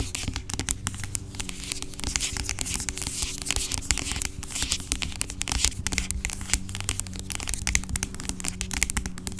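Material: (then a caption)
Plastic. Long acrylic nails rapidly scratch and tap the sides of a large, dark, hollow-sounding plastic pump bottle of aloe vera gel lying on its side, which seems filled with gel. The result is a dense, continuous stream of bright, crackly scratches and quick dry clicks over a steady low hum.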